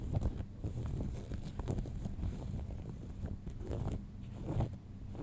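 Long nails scratch and tap light-blue cotton denim jeans lying flat, working over the fabric, seams, front pocket and belt loop. It is heard as a low, muffled rubbing and rasping, with soft dull taps and brief brighter scrapes throughout.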